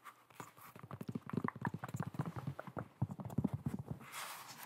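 A white molded foam slip-on shoe with holes, hollow and empty, is held up and turned in the hands while being tapped and scratched with long nails. A quick run of soft, dull, low-pitched taps patters across the shoe with almost no ring. It ends in a brief, airy scratching hiss.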